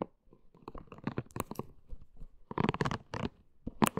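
Long green nails scratch and tap the body and soft spikes of a pink, hand-sized, hollow silicone hair-washing brush. The sound is soft, crunchy rubbery scratching with irregular dull taps. It grows into denser, louder bursts around the middle and near the end, with mostly low to mid tones and little brightness.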